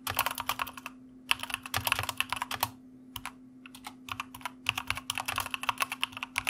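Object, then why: Plastic mechanical keyboard. Fast typing with the fingertips of both hands on a white mechanical computer keyboard with plastic keycaps produces rapid, bright, clicky clacks in bursts separated by brief pauses. Each keystroke is sharp and dies away almost instantly, over a faint steady low hum.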